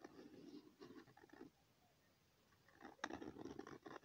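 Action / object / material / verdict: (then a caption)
scrape / pen tip on a sheet of lined notebook paper / paper / none. A pen tip scratches across a thin, flat sheet of lined notebook paper, drawing overlapping circles. Soft, rhythmic scratchy strokes come in two bursts separated by a quiet pause of about a second. The scratching is quiet and dry, with a muffled low-mid body and faint brighter grain.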